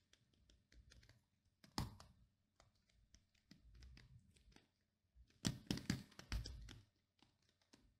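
Short painted nails scratch and flick across the black plastic pin bristles of a pink plastic paddle hairbrush held face-on. Quiet, irregular scratchy ticks and soft rustles come and go, with a louder burst of bright, crackling flicks near the end before it fades back to faint taps.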